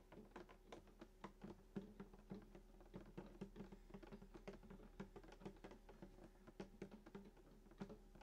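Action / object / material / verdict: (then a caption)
tap / wooden acoustic guitar body / wood / none. Fingertips of both hands tap the wooden top of a hollow sunburst acoustic guitar lying flat, near the bridge. A quiet, irregular stream of soft, hollow knocks follows, each with a short, woody low tone around 195 Hz that dies away almost at once.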